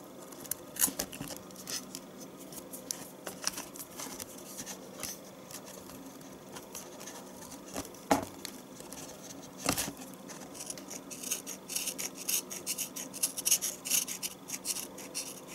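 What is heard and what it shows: A metal knife blade shaves and scrapes thin flakes from a solid yellow bar of household soap held over a plastic tub. The result is a steady run of soft, dry scraping and crisp shaving sounds, bright and hissy, with a few sharper cuts standing out.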